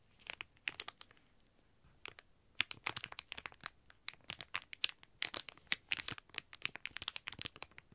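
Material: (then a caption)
Plastic. Fingertips and nails scratch and press a flat, thin, shiny plastic retail bag with an iBloom Mini Sanrio Toast squishy sealed inside, lying on a white table. Sharp, bright crinkles and crackles come in quick bursts with almost no low end and no ring. They start sparse, then grow dense and busy from about two and a half seconds on.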